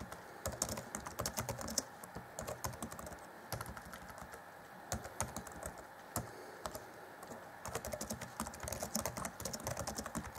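Both hands type rapidly on the black plastic chiclet keys of an Acer Chromebook C20 (2014) laptop, set in a grey deck. The result is a fast, continuous clatter of short, dry taps with a bright, high click. Denser bursts alternate with a few brief, quieter lulls.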